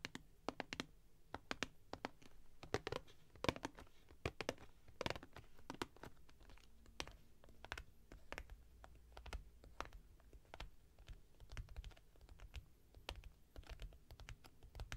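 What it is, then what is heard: Cardboard box tapped and scratched with nails. Long nails tap and scratch along the top edge of a closed, printed cardboard product box standing upright on a velvet cloth. The result is a quiet, steady run of dry, sharp clicks and brief scratchy rasps, each dying away almost instantly, over a faint low hum.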